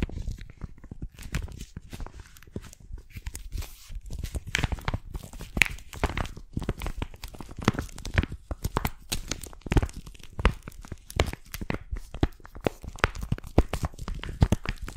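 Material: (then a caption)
Plastic, paper. Long painted nails scratch and crinkle the surface of a folded paper hiking map inside a plastic cover held upright. The result is a dense, continuous run of sharp crackles and papery rustles, with bright, brittle edges over a soft, thumpy low end.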